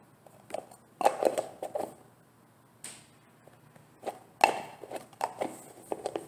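A medium translucent green plastic olive oil gel jar, filled with gel, is handled and tapped with fingertips and painted nails. Short, dry, hollow clicks centered around 800 Hz come in quick clusters separated by brief pauses. Each tap fades almost instantly with no low-end body.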